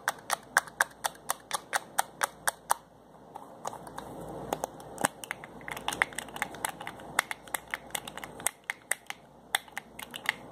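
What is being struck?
Small glass bottle with plastic screw cap.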